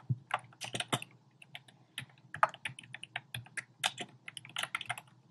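Fingertips with short painted nails rapidly tap the hollow, round pink, red and beige plastic keycaps of a compact black plastic typewriter-style keyboard. Each keystroke is a short, dry click with a bright, hollow plastic ring and almost no decay, in an uneven stream of quick taps with a few louder strikes.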